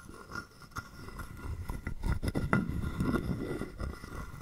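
A hollow carved wooden frog guiro is held in the palm while a wooden stick is scraped quickly along its ridged back and tapped. The result is a string of dry, ratcheting rasps and dull, low wooden knocks with very little ring, loosely paced rather than steady.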